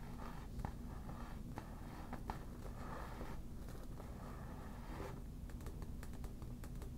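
Long black nails tap and scratch the shiny surface of a hollow, air-filled yellow smiley inflatable PVC vinyl beach ball. Soft, quick taps with little ring mix with light scraping, heard as a quiet, low, dull texture that carries almost no bright edge.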